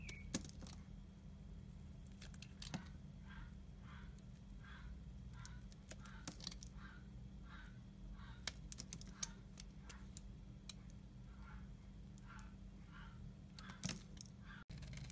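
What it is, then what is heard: Soap bar being scraped. A utility knife blade scrapes across the embossed face of a solid pink stamped soap bar held in the hand. The clip has a steady run of soft, rhythmic scraping strokes with occasional sharp, bright clicks, over a constant low hum.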